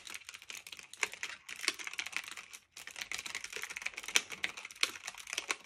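Fingertips with medium nails type steadily on a black retro typewriter-style mechanical keyboard of plastic and metal with round keycaps, resting on a fluffy blanket. Quick, bright, clacky keystrokes come in a dense, uneven stream, each click short and dry, with a brief pause near the middle before the typing resumes.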